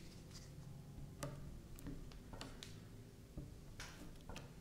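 A kitchen knife tip repeatedly presses and taps into a flat, solid strip of purple slime lying on a grey felt mat, scoring it while fingers with long purple nails hold the end. Quiet, soft ticking taps are heard against a low steady hum, with about seven sharper clicks standing out.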